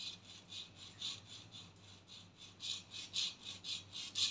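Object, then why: Textured plastic cap of an aerosol can. Long nails scratch and rub the textured black plastic cap on top of a body spray can. A steady series of soft, bright scratching strokes repeats about twice a second, with a dry, hissy character that grows slightly louder toward the end.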